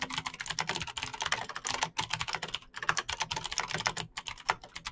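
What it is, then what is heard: Plastic mechanical keyboard. Fingertips type fast on a Razer BlackWidow backlit plastic mechanical keyboard with clicky green switches. A rapid, continuous stream of bright, sharp clicks and taps with very short decay, with brief pauses.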